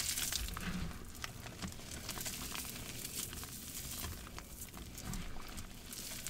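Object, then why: Damp cornstarch and gym chalk mix in a plastic bowl. Both hands squeeze and crush the clumps of a green, damp, partly clumpy mix of wet cornstarch and gym chalk in a large plastic bowl. The result is a steady, soft crackling and crunching texture with bright crinkly detail and a low, muffled squish underneath.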